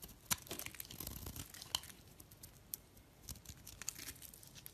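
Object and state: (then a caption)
Bar of soap being shaved. A box-cutter blade scrapes and shaves the surface of a solid green soap bar held in the hand. The result is a quiet, dry, crisp crackling and shaving texture with bright, sharp ticks, a few standing out louder than the rest.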